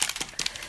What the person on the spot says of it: There's like a little ball bearing or something that helps mix it up.